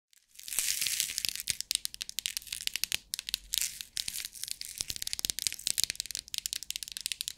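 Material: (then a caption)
Plastic. Long acrylic nails tap and scratch the lid of a small rectangular clear plastic bead organizer box held in the hands, shaking the loose beads inside. The result is a steady, bright, hissy rattle punctuated by a rapid series of sharp, dry clicks with almost no low end.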